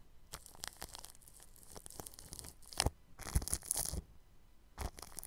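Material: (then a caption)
Plastic film. A bristle paintbrush sweeps across clear plastic cling film stretched over a round microphone's grille. The result is a run of soft, crinkly, scratching strokes with bright hiss and low thumps. The strokes grow louder and denser in the middle before easing back to quieter brushing.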